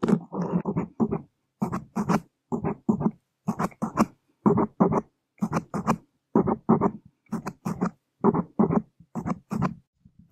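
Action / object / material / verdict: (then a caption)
scrape / open-cell foam microphone windscreen scratched with wooden skewers / foam / none. Wooden skewer tips drag and scratch across a large black open-cell foam windscreen on a microphone. Close, soft scraping strokes come in short bursts with brief silences between them, carrying a low body and light high crackle.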